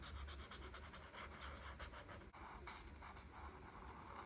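A felt marker tip scratches and rubs across a flat paper coloring page, filling in light green leaves. The strokes come as a steady run of soft, bright scratches with a low hum underneath and a short pause partway through.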